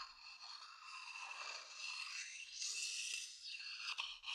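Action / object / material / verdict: scrape / wooden bowl scraped with a thin wooden stick / wood / none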